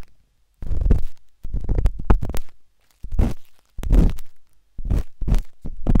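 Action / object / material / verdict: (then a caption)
scrape / silicone ear of a binaural microphone scraped with a metal-tipped stick / silicone / none. The metal tip of a wooden-handled dot stick scratches inside the ear canal of a pale pink, soft and solid silicone ear on a binaural microphone. Close, muffled scraping and rubbing comes in short bursts separated by brief silences. The sound is deep, rumbling and almost entirely low-pitched.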